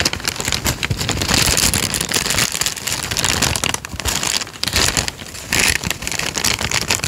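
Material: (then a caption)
Paper. A thin tan paper sheet is folded, bent and crumpled between the fingers close to the mic. It makes a dense, bright crinkling and crackling that runs continuously, with brief softer dips between bursts of handling.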